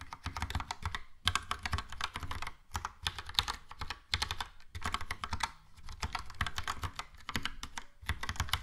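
Fingertips of both hands type on a Logitech POP Keys plastic mechanical keyboard with a yellow plastic case and round plastic keycaps. Rapid bursts of bright, clacky keystrokes, each with a low thock, are separated by brief pauses. Every stroke stops short and dry.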